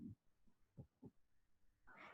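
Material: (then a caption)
Body tissue. Three dull, low thuds from percussion of the left upper quadrant of a human abdomen at the tenth intercostal space, off to the side over the spleen, each note short and damped with no ringing tone. A brief broader rushing sound follows at the end. The dull note over the spleen is a normal finding.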